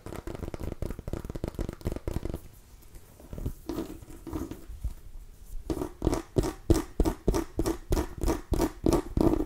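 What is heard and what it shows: A small orange and cream striped mini pumpkin with a hard, ribbed rind is held against the mic and scratched with long nails along its ribs. Quick, dense scratching gives way to a quieter stretch of soft scraping, then returns as steady, rhythmic strokes. Each stroke has a hollow, low-mid tone.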